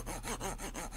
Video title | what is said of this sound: Signorina Salvatore Ferragamo - Comprobar que tu perfume no es falsificado - SUB | si on passe le doigt vous voyez comment ça sonne différent et là le relief entoure tout